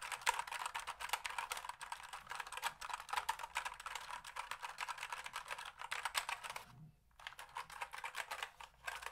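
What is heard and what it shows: A black plastic computer keyboard, held vertically, has its keys typed and tapped rapidly with fingertips. The result is a dense run of short, dry, clicky plastic taps, bright and centred around 1 kHz, with a brief pause near the seven-second mark before the typing resumes.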